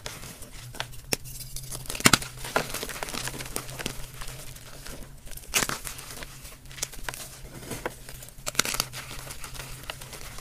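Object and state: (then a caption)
Dyed gym chalk blocks being crushed. Bare fingertips with short nails crush and crumble a pile of soft, crumbly, solid turquoise blue dyed gym chalk chunks with powder between both hands, rubbing them into powder. Dry, bright crunches and crackles pop out over a steady gritty rustle with a faint low hum underneath.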